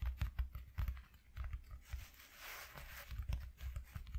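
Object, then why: Corrugated cardboard sheet. Fingertips with short nails rapidly tap and scratch a flat white corrugated cardboard sheet. Soft, low, dull taps come in quick bursts, with a stretch of airy scratching in the middle before the tapping resumes. The sound stays quiet and close, and each tap fades almost at once.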